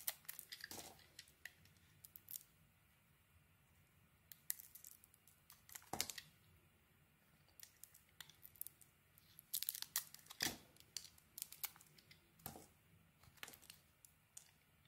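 A small metal knife held in hand carves a solid purple and green bar of soap, removing green shavings. Quiet, dry scraping and crisp crackling cuts come in short bright bursts separated by near-silence, each stroke ending almost instantly with no ring.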